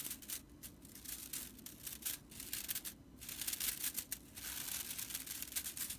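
Long nails and fingers scratch and rake through the dry broomcorn straw bristles of a small whisk broom. The result is a bright, dry, crackling rattle that comes in quick bursts with short pauses between them.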